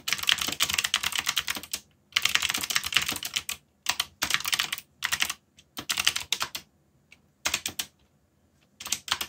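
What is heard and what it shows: Fingertips type steadily on a backlit mechanical keyboard with plastic keycaps, producing bright, crisp clicks. The keystrokes come in rapid bursts separated by short pauses, each click dying away almost instantly.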